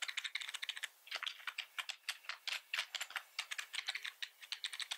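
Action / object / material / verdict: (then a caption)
tap / plastic membrane computer keyboard / plastic / none. Both hands type rapidly with the fingertips on a black plastic membrane keyboard with red accent keys, resting on a wooden desk. The key presses make a quick run of short, bright, dry clicks with almost no low end, with a brief pause just after the first second.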